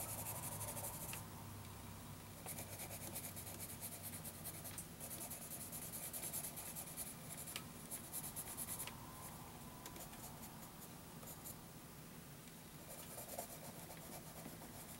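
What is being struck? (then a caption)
Graphite pencil on a paper sheet. A graphite pencil held in the fingers strokes and scratches across a flat sheet of graph paper on a table while shading an elephant drawing. Bursts of bright, hissy scratching come and go over a steady low hum, with quieter stretches between them.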